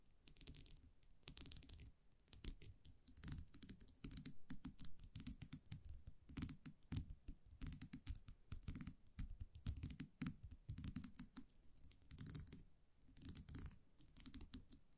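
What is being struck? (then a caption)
Small metal champagne cork cage with round cap. A small metal champagne cork cage, a wire muselet with a round metal cap, is held in the fingers while long nails tap and scratch the cap. Quick, dense bursts of light clicking and tapping come in clusters, with bright, crisp ticks and scratchy rustles over a soft, low body. Each tap dies away almost instantly, with brief quiet gaps between the flurries.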